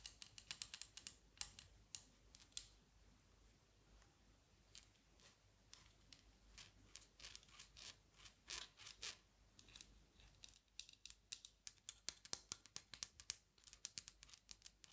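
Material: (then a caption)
Metal, glass. Long nails tap and scratch the thin wire metal frame and clear lenses of a small pair of eyeglasses held in the hands. The sound is a quiet, bright run of sharp, dry clicks and brief scratches that die away almost instantly, with hardly any low end. The taps come in uneven bursts, growing denser and quicker near the end.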